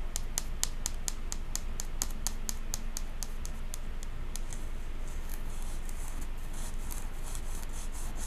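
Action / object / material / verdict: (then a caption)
tap / clear plastic tub / plastic / none. Long pink acrylic nails tap and scratch the side wall of a medium clear plastic tub with a printed label and lid, full of pink cotton candy and held near the face. Quick, crisp, bright clicks come in a steady run for about four seconds, then give way to softer, denser scratching. The packed tub gives a dry, non-hollow sound over a constant low background rumble.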